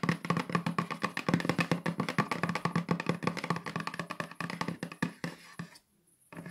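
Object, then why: Small cardboard box with lid. Long nails fitted with metal paperclips tap and scratch rapidly on the lid of a small, hollow pink cardboard keepsake box with a unicorn print. Dense, quick clicky taps with a low hollow resonance run continuously, then thin out and stop near the end, followed by a brief quiet gap and faint scratching.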